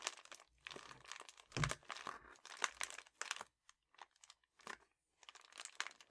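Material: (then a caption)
Metallic foil. A red metallic foil padded bubble mailer lying on a table has its edge pinched and crinkled while its surface is scratched with a fingertip and a painted nail. Dense, bright crinkling and crackling bursts come in irregular clusters, separated by brief quiet gaps and softer scratchy ticks, with a faint low thump under the loudest crumple.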